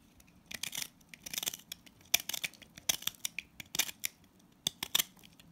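A utility blade cuts and scrapes crumbly shavings from an orange solid salt scrub soap bar held in hand. Repeated crisp, bright, gritty scraping and crunching strokes come in short bursts with quiet gaps, dry and without ring, with almost no low end.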